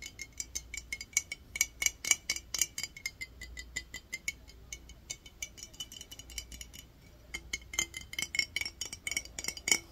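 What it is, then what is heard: Glass jar with water. Fingernails tap and scratch on a clear glass mason jar that is partly filled with water and has a metal lid. Dozens of quick, bright clicks land in an irregular rhythm, each carrying a short glassy ring around 2.3 kHz. Softer scratching fills the gaps between the louder taps.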